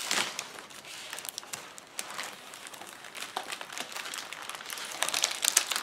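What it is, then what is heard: Plastic bubble wrap being crumpled. Fingers lift, crumple and squeeze a large clear plastic bubble wrap sheet of air-filled bubbles on a table. The result is a steady, bright crinkling with many sharp, short crackles and no low end, growing busier and louder toward the end.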